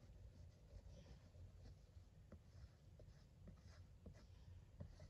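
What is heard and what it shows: Fingertips and short nails trace, tap and rub over the glossy printed lettering on the front of a closed, flat rectangular cardboard box of Motichoor Ladoo sweets. Very quiet, soft scratchy brushing is broken by faint, short dull taps over a steady low rumble.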